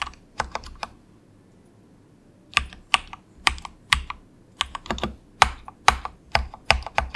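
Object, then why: Plastic mechanical keyboard. Fingertips of both hands type softly on a cheap, compact 68-key plastic mechanical keyboard with a hollow case, resting on a desk mat. About 22 short, clacky keystrokes come in irregular bursts, with a pause of over a second near the start. Each click is bright and dies away almost instantly, with a slightly hollow, plasticky tone.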